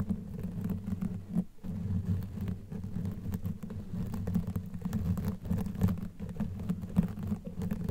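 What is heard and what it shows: Long natural nails on both hands scratch across a black knitted fabric sleeve over a microphone head, which is soft and hollow underneath. The result is a dense, muffled, low scratching and rumbling that runs almost continuously, with a brief drop near the start and soft thumps scattered throughout. There is almost no bright high end.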